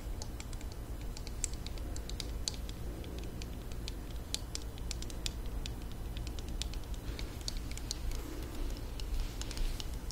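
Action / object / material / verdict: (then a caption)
tap / small plastic hair straightener / plastic / none. A small pink plastic mini hair straightener, held closed, is tapped with long nails along its hollow plastic body. The result is a rapid, uneven patter of short, bright clicks over a steady low hum.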